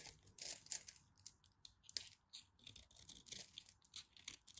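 A utility knife carves a solid orange bar of soap, scraping and cutting as chunks break off. The sound is quiet, crisp, high scraping and crackling in short, dry bursts, with almost no low end.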